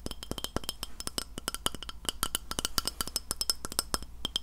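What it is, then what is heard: Glass plate tapped with fingernails. Fingernails tap rapidly and steadily on a glass plate, producing a dense series of sharp, bright clinks with a clear tone near 1.3 kHz and higher glassy overtones. Each tap dies away almost instantly over a faint, constant low hum.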